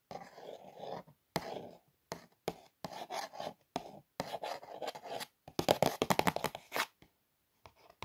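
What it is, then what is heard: Cardboard box scratched with nails. Long nails trace and scratch along the lettering on the small, flat surface of a printed cardboard Daydream cookie box. Dry, papery scratching comes in short stop-start strokes with brief silences between them. Toward the end the strokes turn into quicker, louder flicks before fading out.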